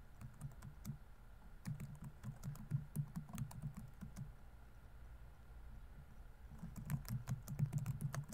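Fingertips type rapidly on a laptop keyboard with plastic keys, producing quick, irregular, soft clicks with a low, muffled thud. The typing runs in a burst, pauses briefly in the middle, then picks up again toward the end.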